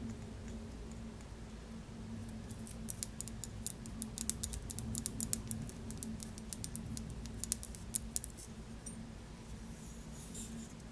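A small shaped glass bottle full of yellow limoncello is held in the hand while long nails tap and scratch the glass. Quick, dry, bright clicks and scratches come in dense flurries over a steady low hum, each stopping almost instantly.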